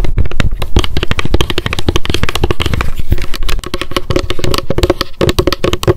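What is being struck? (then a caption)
Spiral-bound paper notebook with card cover. Fast tapping with long decorated acrylic nails on a small pink m.memo spiral-bound paper notebook with a card cover, held in the hands. A rapid stream of dense, dry clicks and taps with a low, papery body and short ring, continuing without pause throughout.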